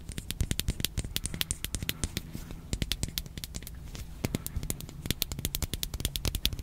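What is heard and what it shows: Long nails scratch and tap quickly over a small, hollow, handheld pink hard plastic toy with a ridged back and a face on the front. The result is a dense run of sharp, dry clicks and bright, high crackly scratches over a low hum, each tap dying away almost instantly.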